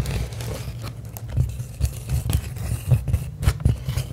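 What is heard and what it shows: A sheet of clear plastic bubble wrap is held up and crinkled while long acrylic nails scratch and tap across its bubbles. The result is a close, irregular patter of soft taps and scratchy crinkling over a heavy, low, muffled rumble of handling.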